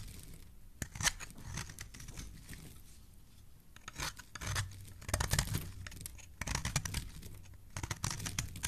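A solid pink and white bar of soap is held in the hand and scraped with a metal blade. Crisp, bright shaving and crackling bursts come in uneven clusters over a soft low rumble, with short pauses between strokes.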